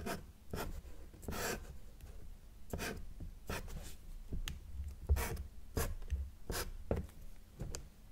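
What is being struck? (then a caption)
Felt-tip marker on paper sheet. A felt-tip marker draws short dash strokes and ray lines on a flat, thin sheet of white drawing paper, its tip rubbing the surface. The result is a series of quick, dry scratchy swipes at an uneven pace, each with a brief bright hiss over a soft low rumble.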